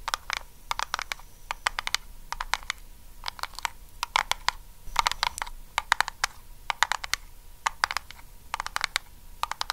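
Long acrylic nails tap and scratch a small round, lidded blue Nivea metal tin held near the face. Quick bright clicks come in rapid clusters with almost no ring, and a short scratchy burst sits in the middle. A faint steady tone near 950 Hz runs underneath throughout.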